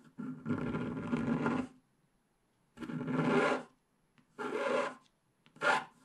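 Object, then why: Wax-coated scratch-art card scratched with a wooden stylus. A wooden stylus scratches the black wax coating off the colored base in the lower left area of a flat scratch-art card held down by one hand. Four separate bursts of dry, raspy scraping are heard with short quiet gaps between them, the first the longest and the last a short, sharp stroke.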